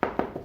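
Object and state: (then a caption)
Hollow old plaster wall. Four quick knocks on an area of old plaster wall next to a solid repaired patch, each a short, dull, hollow tap centered around 480 Hz that dies away fast. The old plaster sounds hollow and loose, unlike the firm repair, but it is left on the wall rather than stripped off.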